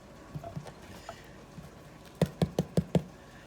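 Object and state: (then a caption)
Baked-through loaf of brown bread (hollow-sounding bottom). A freshly baked loaf of Irish brown bread is tapped five times on its bottom side, giving short, dull, low hollow thuds that die away almost at once. The hollow sound shows the loaf is baked through and ready.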